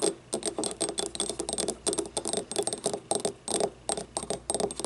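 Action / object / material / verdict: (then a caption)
tap / small ribbed ceramic cup / ceramic / none. Long nails tap and scratch the ribbed wall of a small, hollow, yellow ceramic paint cup standing upright and empty. A rapid, uneven series of dry, clicky taps with a hollow tone near 400 Hz blends with bright, scratchy rasps. Each hit dies away almost instantly.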